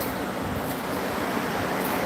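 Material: Nothing is struck.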